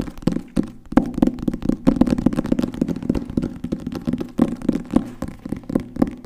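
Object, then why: Hardcover book with cloth-covered board cover. Fingertips and nails tap fast on the cover and spine of a solid green hardcover book with gold lettering, held close in front of the mic. The result is a quick, uneven stream of dull, dry knocks with a low-mid body around 250 Hz and almost no ring after each tap.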